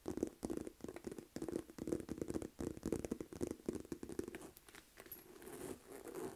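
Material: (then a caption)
Faux leather. Long nails tap and scratch the front of a hollow, medium-size, light pink textured faux-leather Aldo flap purse with a price tag attached. Quick bursts of soft, muffled tapping and dull scratching come in uneven clusters, then give way to a softer, steady scratching near the end.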